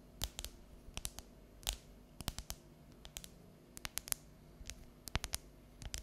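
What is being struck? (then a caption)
Dark chocolate bar. Long neon-yellow natural nails tap and scratch the segments of a solid, unwrapped bar of dark chocolate held at an angle. About two dozen short, sharp, bright clicks come at an irregular pace with no ring, between soft scratchy rustles over a quiet low background hum.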